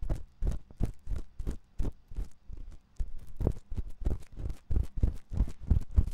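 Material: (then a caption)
Silicone. A thin metal ear pick scratches inside the canal of the white silicone ear of a 3Dio binaural microphone. It makes a run of short, uneven scraping strokes, heard as deep, muffled rubbing thumps with faint bright hiss on each stroke.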